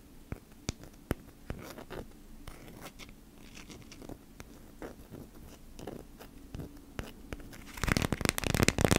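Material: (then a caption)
Waxed cotton. Long nails tap and scratch a folded beeswax-coated cotton food wrap printed with honeycombs. A few sharp, dry taps ring out over a soft, papery scratching with a low rumbling undertone. In the last second the scratching turns into a louder, denser, bright crinkling burst.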